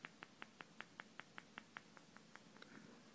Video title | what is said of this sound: Hitachi P50T501 Wont turn on or Half screen is blank | if you shake it, you might be able to hear that clicking. That's the actual stuff inside a capacitor. It's dried out